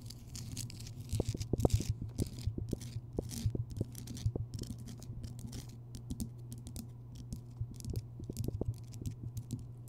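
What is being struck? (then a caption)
Rock salt lamp. Long fingernails tap and scratch quickly across the rough surface of a large, solid Himalayan rock salt lamp that is lit. Rapid, dry clicks and scratchy patters come in uneven bursts over a steady low hum, with faint bright hiss between the taps.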